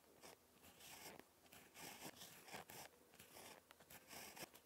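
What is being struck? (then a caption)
Ballpoint pen on lined paper. A ballpoint pen tip scratches across a lined paper notebook page while handwriting, making quiet, bright, crisp scratching strokes in short bursts with brief pauses between them.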